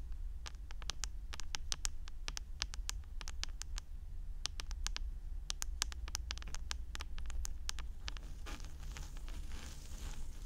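Long orange nails tap and scratch the rim and plate of the hollow white plastic housing of a 3Dio binaural microphone ear. Quick, sharp, bright clicks come in rapid clusters over a steady low rumble. Near the end they give way to a softer, hissy scratching rustle.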